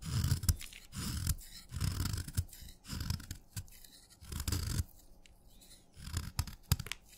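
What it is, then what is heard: Wet chalk stick scraped with a knife. A steel knife scrapes crumbly flakes off the end of a solid wet red chalk stick held on a thumb. The result is a series of short, gritty scraping strokes with soft low thumps and a bright, crackly rasp, separated by brief quiet pauses.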